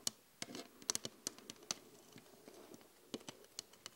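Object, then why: Flat glass mirror. Long acrylic nails and fingertips from both hands tap the surface of a large flat glass LED vanity mirror. About a dozen quiet, sharp, bright clicks come in irregular bursts, with a softer stretch of light scratching and pattering in the middle. Each tap dies away almost instantly.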